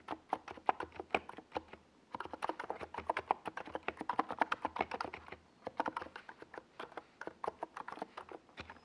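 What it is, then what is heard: Plastic mechanical keyboard. Fingertips of both hands type on a NiZ Plum Atom 68, a compact 68-key mechanical keyboard with a white plastic case and purple and yellow Domikey Gas Attack SA plastic keycaps, resting on a desk pad. Quick, crisp clacky keystrokes centered in the midrange come in steady runs, with brief pauses near two seconds and five and a half seconds. Each stroke is short and dry with almost no ring.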